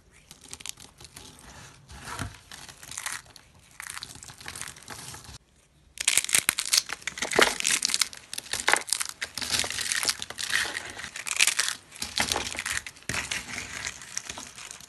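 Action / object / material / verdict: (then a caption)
scrape / soap shavings / soap / none. Long, thin, dry yellow soap shavings are crushed and crumbled by a hand with purple nails and pressed onto a wooden table, breaking the brittle solid pieces. Soft, bright crinkling crackles for the first five seconds, then after a brief near-silence a louder, denser run of dry crunching and snapping continues to the end.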